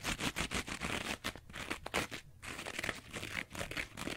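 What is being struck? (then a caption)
Two-layer kitchen sponge with abrasive scouring pad and foam. A rectangular two-layer kitchen sponge, with a green abrasive scouring pad on yellow foam, is scratched across the green pad with long nails and fingertips. Rapid, dry, bright scratching and crinkling strokes come in quick bursts with short pauses between them.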